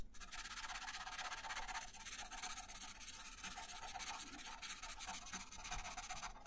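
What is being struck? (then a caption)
Colored pencil on a thin paper sheet over a wooden table. An orange colored pencil shades a thin paper coloring page resting on a wooden table. Quick back-and-forth rubbing strokes make a soft, continuous scratchy hiss, bright and papery, with a faint rhythmic pulse that stays steady throughout.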